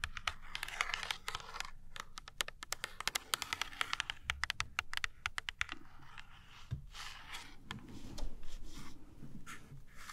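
Long nails tap and scratch the printed thin cardboard back of a small ointment blister pack held in the hand. Rapid, dry, bright clicks come in a quick patter with no ring. They thin out after about six seconds into softer, rustling scratches.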